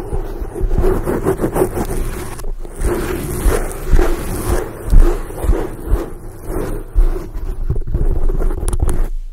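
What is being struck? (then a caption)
Foam microphone windscreen. Long acrylic nails scratch across a soft, porous black foam windscreen over a microphone head. The result is a dense, muffled, low rustling scrape with a steady hum-like tone and brief louder swells, with almost no high content.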